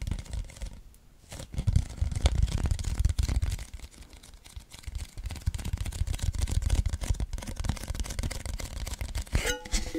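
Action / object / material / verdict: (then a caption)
tap / cardboard chip can / cardboard / none. Fingertips and nails tap and scratch along the side of a tall, hollow cylindrical cardboard Pringles can with a printed wrapper, held horizontally close to the mic. A dense stream of quick, dull, low thumps with little ring fills the clip, easing off briefly in the middle. A brighter scratchy sweep stands out near the end.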